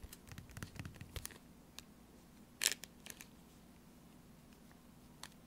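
A small, flat, sealed and full StarKist tuna pouch of laminated foil-plastic lies on a woven placemat and is tapped with long orange-painted fingernails. The taps come as quiet, dry, bright clicks with a soft crinkle and almost no ring. The loudest tap lands near the middle, and the rest are scattered and faint.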